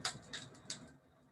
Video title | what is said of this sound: Oscillating Reactions Live Lab 6 | it's no more elastic, it's very hard, and when I throw it onto the table, they break